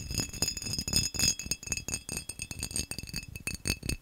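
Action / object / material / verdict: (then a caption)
tap / textured glass vase / glass / none. A textured glass vase is tapped fast and aggressively for ASMR, giving a rapid, uneven stream of bright glassy clinks and rattles over soft low knocks. Steady high ringing tones hang through the taps, while each tap dies away quickly.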